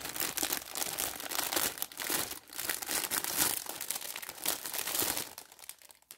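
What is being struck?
Plastic film bag of dish sponges.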